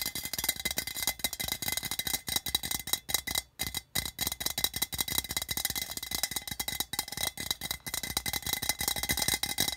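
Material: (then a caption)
Tinplate. Fingers rapidly tap and scratch along the side seam and body of a hollow, patterned printed metal tin can resting on carpet. The result is a dense, continuous stream of bright, crisp metallic clicks and scrapes with almost no ring. It pauses briefly twice near the middle, then resumes.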